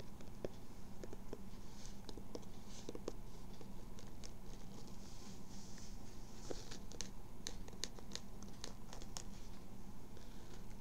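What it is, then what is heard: Fabric baseball cap. A blue Red Sox baseball cap with a floral print, with a structured fabric crown and brim and a hollow inside, is held in both hands while long nails scratch and tap its fabric front panel. Soft, dry scratching and scattered light, brief taps sit over a steady low hum.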